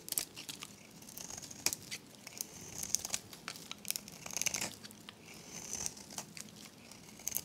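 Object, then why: Bar of soap. A metal blade scrapes a dry, varnished, solid oval pink soap bar with an embossed logo, held in the hand, into crumbly shavings. The quiet, bright, crinkly scraping comes with sharp, dry crackles and snaps that stop short with no ring, and almost no low end.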